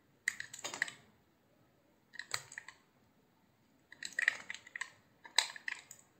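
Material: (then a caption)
Soap. A solid, hand-sized cream-white soap block is sliced and carved with a utility knife blade. Short bursts of crisp, dry scraping and crunching clicks arrive in four clusters separated by quiet pauses. The sound is bright and brief, with no low end and little ring.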